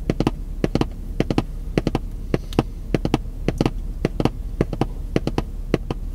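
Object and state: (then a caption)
Cardboard box tapped with fingertips. A long, hollow, printed cardboard puzzle box, held in one hand, is tapped with white-gloved fingertips in quick clusters of two or three. About 27 short, dry, hollow taps sound with a dull low thud and almost no ring over a steady low background rumble.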